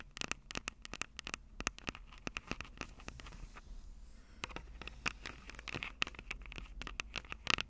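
Long acrylic nails tap and scratch the capsules of a Tascam DR-05 handheld audio recorder, a plastic body with metal mic grilles. Rapid, dry clicks and taps come through close and bright, with a ringing tone near 2.7 kHz, over a low rumble and light scratching. The taps stop at once with no lasting ring.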